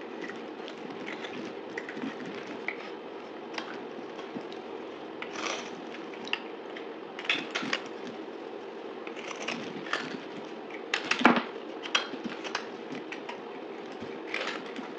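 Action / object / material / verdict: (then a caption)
scrape / bar of soap cut with a knife blade / soap / none. A dried, solid blue soap bar with a gold-painted edge is held in the hand and cut and scraped with a utility knife blade, played at double speed. Dry crackling and crunching scrapes run over a steady low, grainy bed, with short bright bursts scattered throughout. The loudest, sharpest snap comes about three-quarters of the way through.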